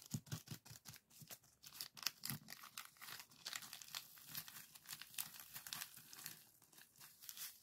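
A small clear plastic zip-lock bag full of purple sand granules rests on a table while fingers crinkle the bag and fold it over. The result is a steady run of bright, crisp crinkling and gritty rustling, with short sharp crackles and quick shifts of sand.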